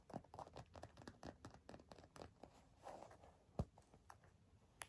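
Long nails scratch and tap a black leather bifold wallet, producing a quiet run of short, dry scratches and clicks with little ring. One sharp tap stands out louder near the end.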